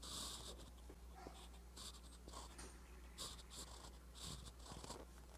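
A metal fountain pen nib scratches across a flat, lined paper notebook page while writing, producing quiet, bright, hissy bursts of scratching. A steady low hum runs underneath throughout.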